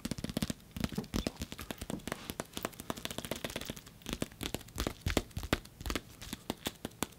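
Fingers tap on the padding of a padded, bulky nunchuck while its metal chain is held down to keep it quiet. The result is a fast, irregular run of short, dry, muffled taps with almost no ring.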